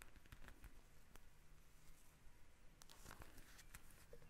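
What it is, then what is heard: Plastic gel bead eye mask. A pink eye mask, a plastic pouch filled with gel beads lying flat on a glass table, is tapped and scratched with long red nails. Quiet, low, muffled taps mix with crinkly scratching and brief bright clicks, steady throughout with no talking.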